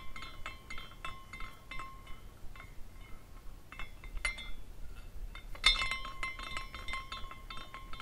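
A small glass carousel figurine spins while its glass horse pendants clink against one another in a steady run of light, bright tinkles, with a clear ringing tone near 1 kHz and a higher shimmer. The clinks are brief and quiet, and they swell into a denser, louder cluster about two-thirds of the way through.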